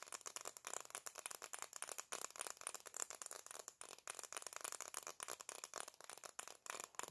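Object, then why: Plastic-framed sunglasses. Black plastic-framed sunglasses are held in both hands while fingertips and nails rapidly tap and scratch the frames and lenses, making the hinges rattle. The result is a fast, continuous stream of dry, bright clicks and scrapes with almost no low end and no ring after each tap.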